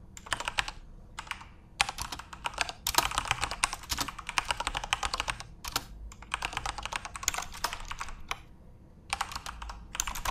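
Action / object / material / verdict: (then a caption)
tap / plastic computer keyboard / plastic / none. Continuous fingertip typing on a backlit plastic Corsair mechanical keyboard with RGB LEDs produces rapid, bright clicking keystrokes. The typing comes in dense bursts separated by brief pauses, each keystroke short and sharp with almost no ring.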